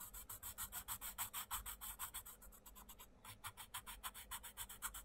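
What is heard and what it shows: A wooden coloured pencil rubs quick shading strokes over a butterfly drawing on the page of an open paper colouring book, while the other hand spreads and holds the page flat. Each back-and-forth stroke gives a soft, bright, papery scratch, repeating about three times a second. The strokes briefly thin out around the three-second mark before resuming.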